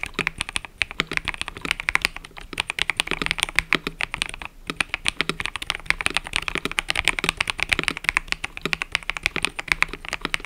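Fingertips type continuously on a mechanical keyboard with cream and purple plastic keycaps. The keystrokes make a fast, steady stream of short, bright plastic clacks with almost no low end, pausing briefly partway through.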